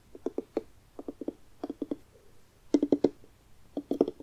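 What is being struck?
Carved pumpkin rind.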